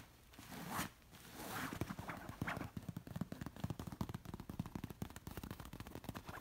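Long nails scratch and rub across a large, soft orange pillow covered in shiny, wrinkled silk-like fabric. Slow, airy swishing strokes at the start give way to a quick, steady run of short, crisp scratches with a soft low thud beneath them.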